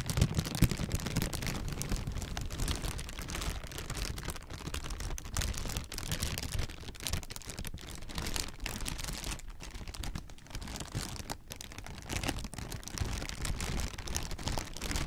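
Clear, hollow, soft plastic air-pillow packing is squeezed and crinkled with fingers. It makes a steady, dense stream of quiet crackles and soft rustles. The sound has a heavy low-end thump and fainter bright crinkle detail throughout.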